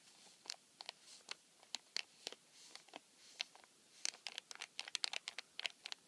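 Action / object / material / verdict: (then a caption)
scrape / cardboard tissue box with plastic film window / plastic film / none. Fingertips and nails scratch and rub continuously along the clear plastic film window of a flattened, empty cardboard tissue box. The sound is a quiet stream of short, crisp, bright scratches and ticks with almost no low end, each one dying away instantly, and the bursts crowd closer together toward the end.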